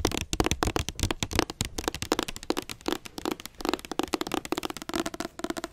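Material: Cardboard.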